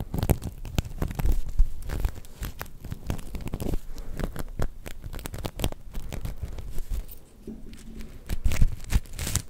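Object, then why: Sequin fabric star. A black and gold sequin fabric star, held close, is scratched and brushed with long nails and fingertips. The result is a dense, continuous stream of crinkly, tearing-like scratches and soft patter, heavy in low frequencies, with brief louder bursts near the start and end.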